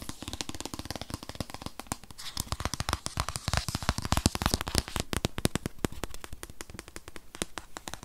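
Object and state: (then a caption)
Cardboard product box. Fingernails tap rapidly on the front and side of a rigid, tablet-sized white paperboard box holding a 2020 8th-generation iPad. The taps are sharp, dry and clicky, with a crackling edge that reaches high, a low thud underneath and almost no ring. They come in a quick, uneven rhythm of about three to four taps per second.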